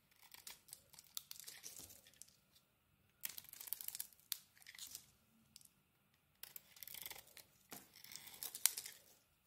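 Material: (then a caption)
Soap. A solid white and yellow bar of soap, held in the hand, is scraped and shaved with a metal blade, with chunks falling off. Quiet, dry, bright crunching and scraping come in three bursts, each made of many short rasping strokes, with brief silences between them. There is almost no low end.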